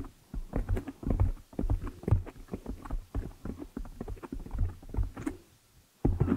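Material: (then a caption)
Foam. Long nails scratch and fingers rub the black foam windscreen on a desktop microphone. The result is a dense run of muffled, bassy scratching and rubbing bursts with a low rumble underneath. The sound drops to near silence for a moment just before the end, then resumes.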